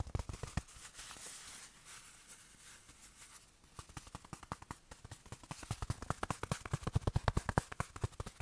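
A small, soft, padded black fabric watch cushion is held in one hand and quickly tapped with the fingertips of the other hand, giving muffled, low thuds with almost no ring. A few taps open the clip, followed by a stretch of soft, hissy fabric rustling, and then a long run of fast, uneven tapping that grows louder toward the end.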